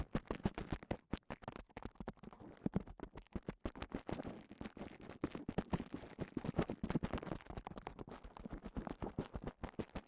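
A clear plastic bubble wrap cone is held in one hand while fingertips scratch and rub across the bubble surface. The result is a quiet, steady stream of rapid, dry crinkling scratches and short taps, weighted toward low tones with very little bright content.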